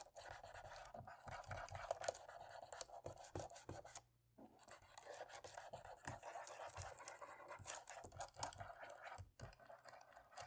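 A cotton swab rubs and scratches along the top rows of dark plastic laptop keys, giving a steady, dense scratching with many short, soft clicks and scrapes. Brief pauses break the sound near the 4- and 9-second marks before the rubbing picks up again.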